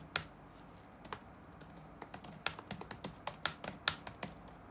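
Fingertips tap rapidly on the black plastic keys of an open laptop resting on a wooden desk. About fifteen short, bright key clicks are heard, sparse at first and then quickening into an uneven typing burst, each tick dying away almost instantly.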